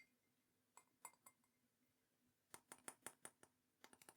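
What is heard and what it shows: A glazed teal and green ceramic mug is tapped 13 times: a few light taps, a pause, then a quicker run. Each tap makes a bright, high clink that dies away almost at once.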